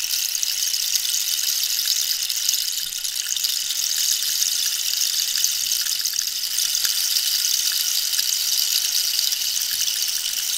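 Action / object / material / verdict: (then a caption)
scrape / dried cactus-wood rainstick / cactus wood / none. A long, hollow dried-cactus rainstick with a holed wooden surface is held diagonally while long pink nails tap and scratch along the wood. The sound is a steady, bright hiss with faint crisp ticks scattered through it, nearly all of it high with no low end.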